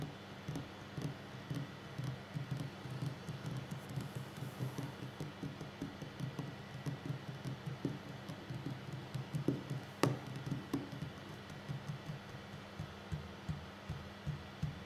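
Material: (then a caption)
Wood. Fingertips and short nails tap slowly on a solid wooden tabletop, making a steady run of soft, dull, low thuds with light clicks on top, over a constant low hum. Each tap dies away almost at once, and one sharper, louder tap stands out near the ten-second mark.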